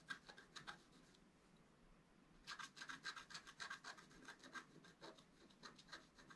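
A wooden stylus scratches fine lines on the right side of a flat black, wax-coated scratch-art paper card held by one hand. Quick, dry scratching strokes come in a brief burst, then a quiet pause of about a second. A denser run of strokes follows, each with a thin, bright rasp and a faint squeak near 1.6 kHz.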